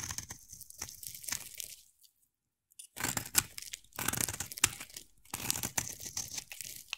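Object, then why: Bar of soap. A utility knife blade carves a hand-sized, solid rectangular black bar of soap with white stripes, shaving off flakes. Bright, crisp scraping and crunching cuts come in bursts, with a brief silent pause near the two-second mark before the carving resumes.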